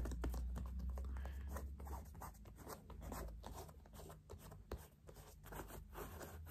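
Fingernails and fingertips scratch and tap the synthetic leather upper of a single new white Puma low-top sneaker with white laces, held hollow and empty in the hand. The result is a quiet run of quick, dry, scratchy taps at an uneven rhythm over a steady low hum.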